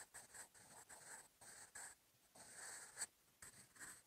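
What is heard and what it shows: A sharpened wooden graphite pencil, held in the fingertips, writes in continuous handwriting strokes on a lined paper notebook page resting on a wooden desk. The graphite tip makes a quiet, bright, dry scratching in short bursts with brief gaps between strokes.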